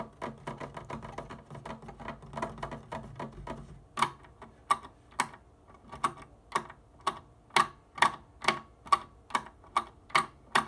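Long nails tap and click on plastic organ keyboard keys, seen close up, without playing any notes. A fast, dense flurry of light clicks gives way to slower, sharper, evenly spaced taps with a bright, short plastic ring.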